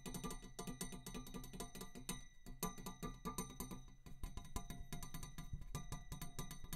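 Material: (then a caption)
Metal. A metal tube is tapped in a rapid, steady series of short, dry taps that sound like a ratchet clicking. Each tap carries a low, thudding body with faint bright ringing partials above it, and the sound dies away almost at once.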